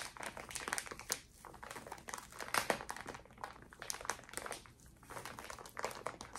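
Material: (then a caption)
Plastic. A small, clear plastic zip bag full of cotton pads is squeezed and crinkled by fingertips and long nails close to the mic. It gives a dense run of sharp, bright crackles and rustles that swell and ease in uneven bursts, with the loudest crunch around the middle and almost no low end.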